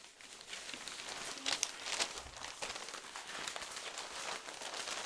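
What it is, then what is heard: Newspaper pages being handled. A stack of newsprint newspaper pages is held in the hands while the pages are flipped and folded with the fingertips. A steady, bright crinkling and rustling runs throughout, with a few sharper paper crackles and snaps standing out near the middle.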